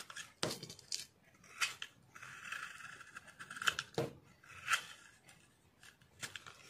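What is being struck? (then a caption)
Soap bar scraped with a metal blade. A metal utility blade scrapes and shaves curls off a solid, rectangular, hand-sized green Vim dishwash soap bar held in one hand, with soap shavings lying nearby. Repeated carving strokes make dry, bright scraping rasps centred around 1.4 kHz, broken by sharp crisp clicks and short pauses between strokes.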